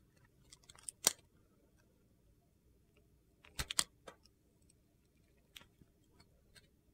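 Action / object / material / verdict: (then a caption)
scrape / bar of soap cut with a metal knife / soap / none. A metal utility knife carves the corners and edges of a solid rectangular bar of glittery brown soap held in the hand, and crumbly white flakes come off. Sharp, bright, crunchy scraping cuts come in short, irregular bursts with quiet gaps between them.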